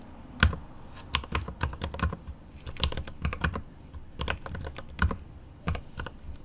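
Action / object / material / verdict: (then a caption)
tap / mechanical keyboard with plastic keycaps and aluminium case / plastic / none. Right-hand fingertips type on the plastic keycaps of a mechanical keyboard with an aluminum case. It makes an irregular run of short, sharp keystrokes with a deep, low thock and a bright click on top. Each stroke dies away almost at once against a quiet background.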